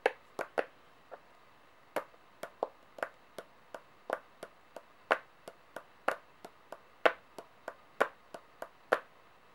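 Long painted nails tap and click on the faces of a set of solid metal coins lying flat on a table. There are 25 short, sharp clicks at an irregular pace, each bright and metallic with a midrange body around 680 Hz. They decay almost instantly with no ringing.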